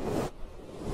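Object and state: Nothing is struck.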